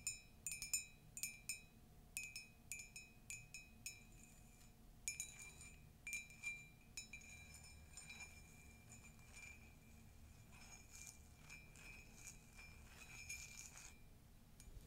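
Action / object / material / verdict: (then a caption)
tap / ceramic mug / ceramic / none. An empty, hollow, flared ceramic Disney mug with a pastel carousel print and a yellow handle and inside is tapped and scratched with long nails. Bright, glassy clinks ring out briefly in quick clusters through the first half. Then a steady, high scratching rasp takes over, with occasional lighter taps.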